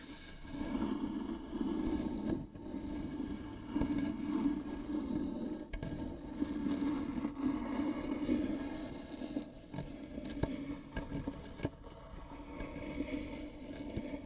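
Long nails of both hands scratch along the grooved surface of a light wooden box, likely hollow. The result is a steady, hollow rasping scrape centered low around 300 Hz, swelling and easing in long strokes, with a few sharp clicks scattered through it.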